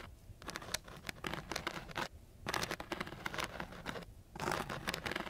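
A flat wooden stick is scraped across the grit of a coarse sheet of sandpaper, making a dry, bright, gritty scratching sound. The scratching comes in three bursts, each made of rapid rasping strokes, with short quiet pauses between them.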